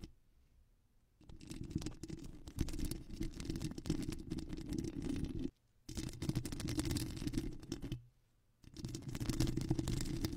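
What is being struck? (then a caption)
Foam microphone windscreen. Long acrylic nails on both hands scratch rapidly back and forth across a soft, porous black foam windscreen covering a studio microphone. The sound is a dense, muffled rasp with a heavy low rumble and faint bright crackle, coming in three sustained bursts separated by brief silent pauses.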